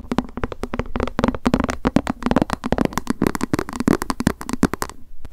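Long acrylic nails tap quickly on a small, hollow white plastic lunch box with a cat print, held in the hands. A rapid, uneven stream of short, dry clicks each carries a faint hollow body tone with almost no ring. The tapping stops briefly near the end before one last tap.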